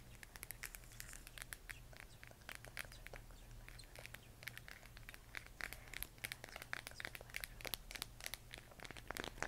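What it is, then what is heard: Plastic moon lamp tapped with nails. Long nails tap and scratch a hollow plastic LED moon lamp sphere glowing cyan, making dense, quick, bright clicks and crinkly scratching. The taps are dry with no ring, over a steady low hum.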